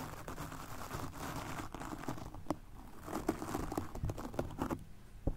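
A stiff-bristled golf club cleaner brush is scrubbed across a soft, porous black foam microphone windscreen. The result is a dense, muffled scratching and crinkling texture with low rumble, broken by short sharp scrapes.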